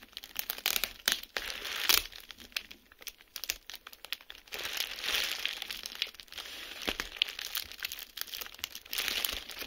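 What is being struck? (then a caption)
Plastic bubble wrap sheet. A clear plastic bubble wrap sheet lies flat on a surface while its bubbles are pinched with fingertips and pressed with the flat palm to pop them. Bright, crisp crinkling runs throughout, broken by sharp, short snaps and pops with almost no low end.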